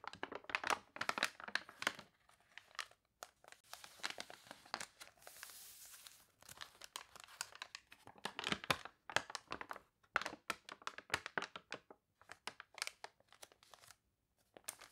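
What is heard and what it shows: Long nails scratch and rustle the glossy pages of a paper toy catalog, and a wavy page is flipped. The sound is a quiet, bright crinkle of rapid, short scratches and crunches in uneven bursts, with a brief soft hiss in the middle and near-silent pauses between.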